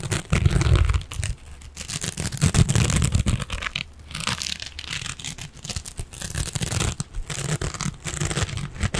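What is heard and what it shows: A silver metallic mesh scrubbing sponge is held upright and scratched with fingernails. The result is dense, irregular crinkly scratching and crunching with a bright, hissy edge, over heavy low thumps from the handling. The scratching comes in uneven bursts that swell and fade throughout.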